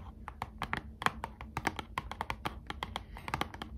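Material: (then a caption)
Cardboard. Long acrylic nails tap a small, closed, hollow Squishmallows trading card box made of thin printed cardboard, held in both hands. The result is a quick run of about 22 light, dry clicks with a hollow mid-range tone. Each click dies out almost at once over a faint low hum.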